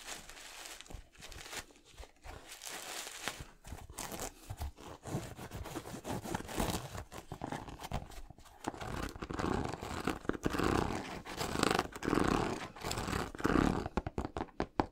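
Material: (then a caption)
Knit textile. Painted fingernails scratch and tap an empty yellow Yeezy 350 knit sneaker held in the hand, working over its knit upper and its ridged, translucent rubber sole. The result is dense, dry scratching and crinkling textures, broken by quick, irregular taps. The sound grows fuller and louder in the second half.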